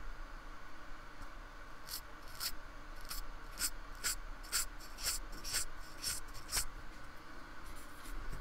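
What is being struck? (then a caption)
Polystyrene foam block stroked with a paintbrush. A fine paintbrush with a metal ferrule rubs and strokes the textured surface of a small, solid, painted square of white polystyrene foam lying on a wooden table, while the other hand holds it steady. Soft, dry scratchy brush strokes repeat about twice a second, each with a brief bright rasp, over a constant low hum.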